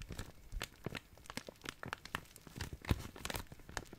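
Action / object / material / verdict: scrape / thin clear plastic zip-lock bag / plastic / none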